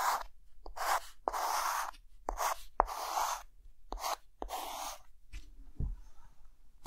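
A hand finishes a third row of figures with a white chalk stick on a flat, dark green chalkboard. Bursts of bright, gritty scratching strokes alternate with brief sharp taps and short pauses, then fade to softer rubbing at the end.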